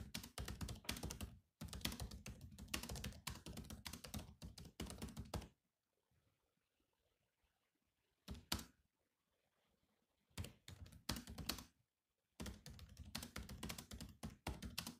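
Fingertips of both hands type steadily on the low-profile plastic chiclet keys of a grey metal-bodied laptop. Bursts of rapid, clicky keystrokes with soft low thumps and bright tips are broken by short silent pauses, mostly in the middle of the clip.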